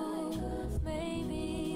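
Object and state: Nothing is struck.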